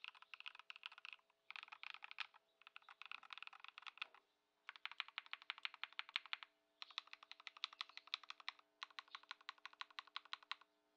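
A compact modded Ducky One 2 SF mechanical keyboard, fitted with Lumia Matcha switches, Poron foam and white plastic keycaps, is typed on with both hands' fingertips on a wooden desk. Quick, bright clacks come in six bursts separated by short pauses, each keystroke crisp and short with no low thump. A faint steady hum sits underneath throughout.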